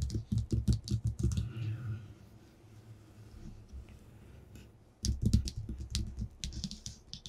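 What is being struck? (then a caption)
Paper sheet on a tabletop. Short-nailed fingertips, held in a clawed position, tap and lightly scratch a flat white sheet of paper lying on a table. A quick run of soft, dull taps gives way to a quieter stretch of faint scratching. Then another burst of rapid tapping follows, with light, bright nail clicks over it.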